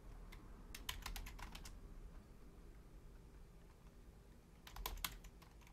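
Long fingernails and fingertips of both hands tap rapidly on a full-size black plastic Logitech membrane keyboard with a hollow housing. Two bursts of quick, bright, clicky key taps, one near the start and one near the end, sit over a steady low hum, with a quieter stretch between them.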